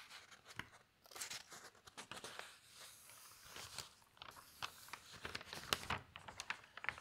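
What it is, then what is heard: Newspaper pages being handled. Hands lift, turn and smooth the large pages of a thin newsprint newspaper. Bright, dry crinkling and crunching come in quick, uneven bursts with short tearing-like rustles between them, each sound stopping almost at once.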